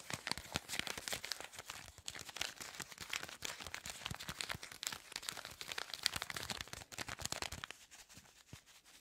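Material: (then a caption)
Paper, foil. A small flat paper-and-foil lemongrass-ginger tea bag sachet is handled up close while long acrylic nails scratch and crinkle it. Dense, bright crinkling and scratching runs continuously for about eight seconds, then thins out into a few quieter taps and rustles at the end.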